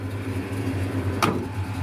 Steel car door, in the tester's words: when you open the door and close it, it sounds solid. It is solid.